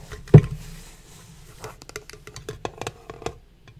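A small rectangular printed metal Pokemon card mini tin, closed and hollow with its lid on and holding booster packs, is held in both hands while short fingernails and fingertips tap and scratch its lid. One sharp, louder tap comes first, followed by a soft scratchy stretch and then a quick run of light, crisp taps. Each tap is dull and low, dying away almost instantly.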